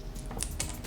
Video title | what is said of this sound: Test Kitchen: Plant-Based Bacon Four Ways | listen to how crispy that is